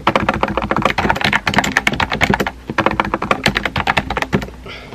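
Fingertips type rapidly on a small pink and white plastic keyboard with round plastic keycaps and a hollow body. Short, clacky key taps come in quick, uneven bursts, each dying away almost at once. There is a brief pause partway through, and the typing thins out near the end.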